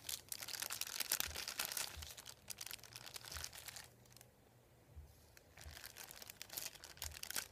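A thin, flat, folded sheet of printed white paper lies on a wooden table as fingertips rub and lift its edge. The result is a soft, bright crinkling with dense rustles and small crackles, easing into a brief quiet spell near the middle before the crinkling picks up again.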